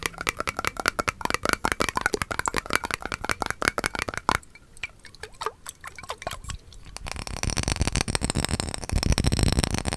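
Fingers and nails tap and scratch a clear, hollow glass mason jar held horizontally and partly filled with glowing liquid. Rapid, crisp taps ring with a glassy tone around 1 kHz for the first four seconds, then thin out into quieter, scattered taps. From about seven seconds, a denser, brighter scratching and rushing texture builds and carries on to the end.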